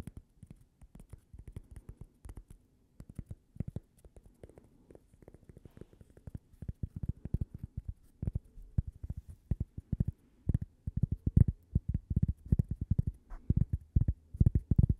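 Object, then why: Cork coaster. A thin, flat, toast-shaped solid cork coaster with a logo, held close to the microphone, is tapped and scratched with long painted nails. The result is a dense run of soft, dull, low taps with very short decay and faint scratching, growing gradually louder toward the end.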